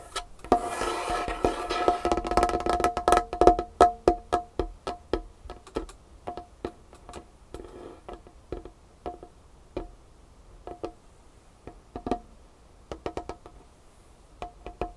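Long painted fingernails tap and scratch a large, solid, dark wood tabletop. A burst of dense scratching and fast tapping at the start gives way to a sparser, uneven run of short, dry knocks. Each knock carries a brief hollow ring around 710 Hz that dies away almost at once.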